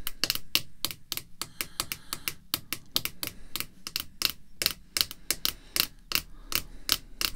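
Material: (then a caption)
Hard plastic. Red artificial nail tips tap a small, clear hard-plastic graded card slab holding a baseball card as it rests on black cloth. About 30 quick, sharp, bright clicks come at an uneven pace, each one dying away almost instantly.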